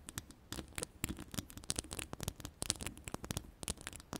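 Long pastel ombre acrylic nails scratch and tap on the round, hollow, woven metal mesh grille of an uncovered microphone. A quiet, rapid, uneven stream of crisp scratches and clicky taps carries bright, high hiss over low thumpy body. Each hit dies away almost instantly with no ring.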